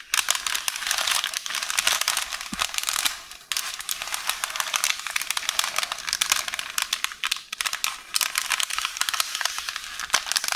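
A hollow roll of beige parchment baking paper is scratched and squeezed by one hand with long orange nails. Dense, bright crinkling and rustling runs almost continuously, with a brief dip in the middle.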